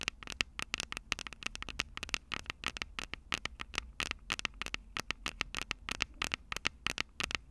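Long purple nails tap and scratch the two silver metal mic capsules on a plastic-bodied Tascam DR-05 handheld recorder. The result is a rapid, uneven stream of dry, bright clicks and scratchy crackles centered around 2.7 kHz, with almost no low end and no ring after each tap.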